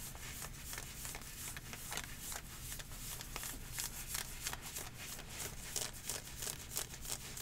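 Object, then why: Ribbed nylon-spandex leggings worn on the leg. Long painted nails scratch and rub aggressively across dark green ribbed athletic leggings of nylon/spandex-type fabric with mesh panels, worn on the thigh. The result is a quick, irregular run of dry, bright scratching strokes with a high hissy texture over a faint low rumble.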